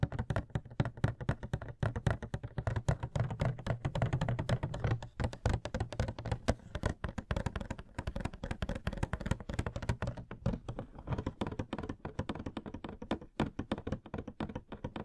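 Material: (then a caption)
Cardboard. Fingertips and nails tap rapidly on the top and sides of a Coca-Cola Can Funko Pop box, a hollow cardboard box with a plastic window and the figure inside. The taps are quick and steady for the whole clip, each a short, dry, low, hollow knock that dies away almost at once, with little brightness.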